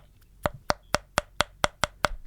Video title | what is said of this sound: 195 - Why Do Kids Like Toys? | if I thump it sounds Hollow that is a blow mold